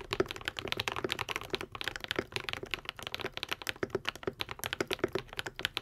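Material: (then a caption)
Plastic. A modded white and pink Epomaker TH80 75% mechanical keyboard with Akko V3 Cream Yellow switches and plastic keycaps is typed on continuously with the fingertips of both hands. It makes a fast, steady stream of short, crisp clacks with a mid-pitched thock and a bright click, each keystroke dying away almost instantly.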